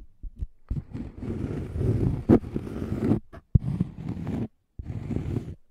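Fingertips and nails scratch and tap the surface of a round, flat, thin, solid cork coaster with a scalloped edge, held near the microphone. The sound is a dense, muffled, low-pitched scraping in several bursts separated by brief silences. A few sharper taps punctuate it.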